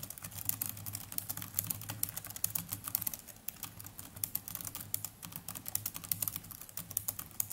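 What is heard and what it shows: Both hands type with their fingertips on the plastic chiclet keys of a small black netbook keyboard. A continuous, rapid stream of short, dry, bright key clicks sits over a steady low hum at a fairly quiet level.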